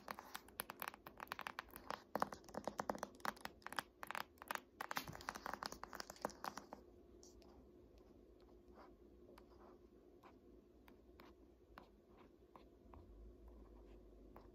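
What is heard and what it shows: Long nails tap and scratch with single fingers across the glossy front cover of a large, solid "Art History" hardcover paper textbook held upright on a lap. Dense, crisp tapping and scratching fills the first seven seconds, then thins to sparse, softer single taps over a quiet background.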